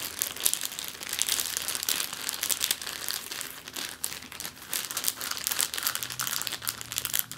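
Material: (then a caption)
Plastic. A large, thin, clear, empty plastic bag spread on a table is pressed and scrunched under the fingertips and long nails of both hands. It gives a continuous, bright, dense crinkle made of many quick crackles, with almost no low end. The loudness rises and falls unevenly throughout.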